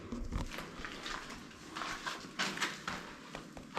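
Lime render on a cave house ceiling arch is tapped repeatedly, giving a series of short, dull knocks that stop quickly. The render sounds solid.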